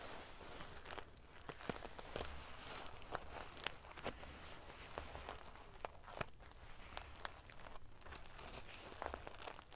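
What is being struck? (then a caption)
Metal sequins on a fabric pillow. Long painted fingernails scratch and ruffle a large decorative pillow covered in rows of small silver metal sequins sewn onto fabric. A steady, quiet crinkling rustle is broken by many sharp, bright metallic clicks and ticks as the sequins flick against each other.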